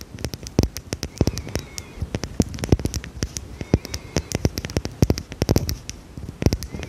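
Long red nails tap and scratch a small dark red glass perfume bottle with a cap, which is likely filled. The result is a quick, irregular run of sharp clicks and taps with very short ring, each with a dull low thud under a bright tick, over a faint scratchy hiss.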